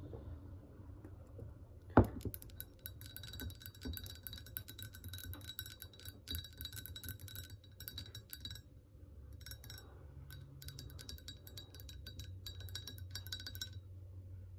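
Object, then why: Glazed ceramic mug. Long painted nails tap rapidly on the glazed outer surface of a large, hollow ceramic mug with a gingerbread pattern, resting on a counter and possibly holding a tea bag. The result is a steady stream of light, bright clicks and faint clinks over a low, constant hum, with one louder knock near the two-second mark and a brief pause around nine seconds.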